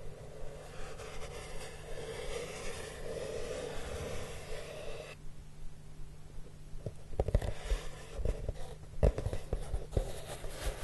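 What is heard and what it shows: Fingertips with short nails slide and rub over the flat surface of a large, hollow, brown corrugated cardboard box. For about five seconds there is a steady, soft, hissy rubbing. It then drops to a quieter, duller scraping, broken by low, hollow bumps from the box surface.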